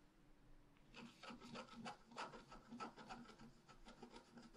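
A wooden stylus scratches a leaf shape into the lower right of a flat black-coated scratch art paper sheet. After a near-silent first second, quiet, dry, raspy scratching strokes come in irregular bursts, bright and papery with little low end.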